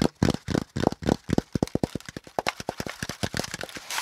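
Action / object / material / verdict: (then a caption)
tap / corrugated cardboard packaging insert / cardboard / none. A hollow, empty brown corrugated cardboard packaging insert, with a flat panel and folded zigzag compartments, is held up and tapped and scratched along its ridges with fingertips and nails. About 25 quick, irregular, dull hollow taps mix with brief scratchy rustles, each dying away almost instantly, with the body of the sound sitting low around 250 Hz. A soft, bright scraping hiss rises at the very end.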